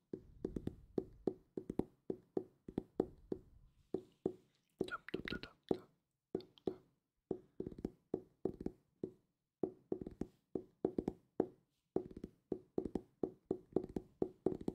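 A solid purple hardcover book is tapped with fingertips close to the mic, giving quick, dry, hollow knocks centered around 360 Hz. The taps come in fast rhythmic runs with short pauses, each knock dying away almost instantly.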